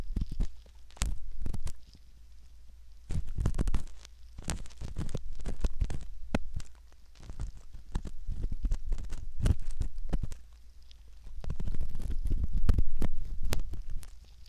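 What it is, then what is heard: Silicone ear model scraped with a metal pick. A curved metal pick scrapes the canal rim of a soft silicone ear model, recorded very close. Irregular crackling scrapes and sharp clicks come in uneven bursts over a heavy low rumble, with brief bright snaps cutting through.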